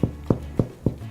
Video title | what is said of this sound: How to Bake Sourdough - Make Bread | oh that's a great sound um so this bread is done